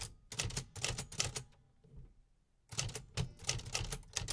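Fingertips press the keys of a 1950s Remington Quiet-Riter metal typewriter, driving its typebars to strike in quick, crisp clacks that pair a bright snap with a low mechanical thump. A burst of typing gives way to a near-silent pause of about a second, then the rapid strikes resume until the end.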